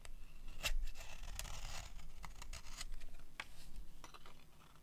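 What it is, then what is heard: Dry soap bar scraped with a blade. A metal utility blade scrapes shavings off the face of a solid cream-colored dry soap bar. A series of short, crisp, bright scraping strokes plays over a low background rumble, each stroke dying away quickly.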